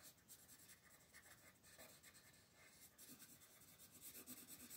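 A colored pencil is rubbed in steady shading strokes across a flat paper page of a Mortal Instruments coloring book in dim light, while a second pencil lies still on the page and the other hand, with long dark nails, holds the page. The result is a quiet, continuous, bright scratchy rasp that swells and fades gently with each back-and-forth stroke.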